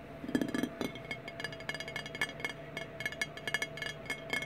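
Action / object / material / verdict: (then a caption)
tap / glass bottle, partly filled / glass / none. Fingernails tap rapidly on a clear glass Fireball whisky bottle, partly full of amber liquid, lying on its side on a wooden table, striking both the glass and the label. The result is a quick, uneven run of light, bright clicks and clinks, each dying away almost instantly with a faint glassy ring.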